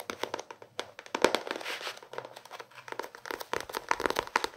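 A small paperback book with a paper cover is held in both hands while fingertips and nails scratch and tap its cover and page edges. Rapid, dry taps mix with crinkly paper scratching in a quick, uneven rhythm, with a brief rougher rustle in the middle. Each tap is short and bright, with almost no low end.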